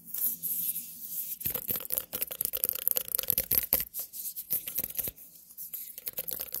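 A small white pumpkin held close to the microphone is scratched and tapped with long nails. Dense, bright scratching and rough scraping fill the clip, broken by sharp, crisp taps with almost no ring. A faint low hum runs underneath.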